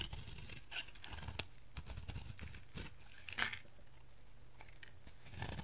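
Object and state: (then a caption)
Dry soap bar, scraped. A solid, dried orange bar of soap held in the hand has its surface scraped with a utility knife blade, and crumbly flakes fall away. Dry, crunchy scraping and crisp, bright crackles come in irregular bursts over a low, steady rumble.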